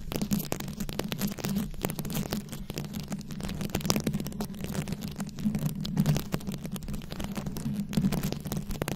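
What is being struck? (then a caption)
Rhinestone-studded microphone head scratched with long nails. Long nails scratch across the rhinestone-studded head of a rhinestone-covered microphone, producing a dense, continuous stream of close crackling scrapes and sharp clicks. A steady low hum sits beneath the scratching throughout.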